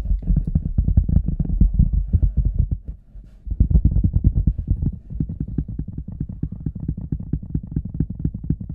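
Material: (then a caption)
Rubber. Fingertips and nails tap and scratch the toe and sides of an oversized, hollow red rubber boot resting on a table. The result is a rapid, steady stream of deep, boomy thuds with a dull low hum, briefly dropping quiet around the three-second mark before the tapping resumes.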